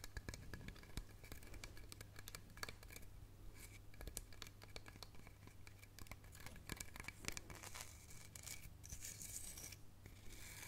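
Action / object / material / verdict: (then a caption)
scrape / bark-covered log section with a central hole / wood / none. Long nails scratch and tap the pale, rough wood ring around the central hole of a hollow, bark-covered log section held up by its cut end. Quick, dry clicks and bright scratching rasp over a steady low hum, with each tap dying away almost instantly.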